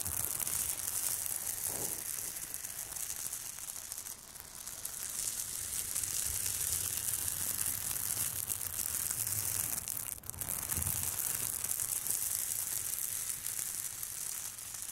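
Two light-blue plastic scalp massagers drag their prongs in a scratching motion across the large, flat, crinkly silver surface of an aluminium foil thermal insulation bag, which is hollow and soft. The result is a continuous, bright, crinkling hiss that stays steady for the whole clip, with brief dips near four and ten seconds.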